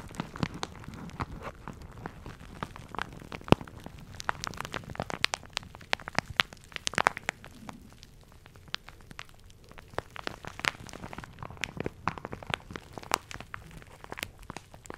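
A soft, patterned plastic shower cap, hollow and flexible, is held in both hands close to the mic and squeezed and crinkled with the fingertips. It makes a steady stream of dense, irregular crackles and sharp, bright clicks, like light rain or a crackling fire. The sound eases briefly around the middle before picking up again.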